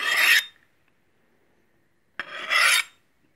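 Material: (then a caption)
Stainless steel. A large, solid stainless steel meat cleaver, held in hand, has its blade sharpened by sliding it along a steel honing rod. Two separate rasping metal-on-metal scrapes are heard, bright and hissy, with a gap of silence between them. The second starts with a sharp click before the scrape swells and fades.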